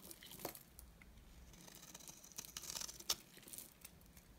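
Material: Soap.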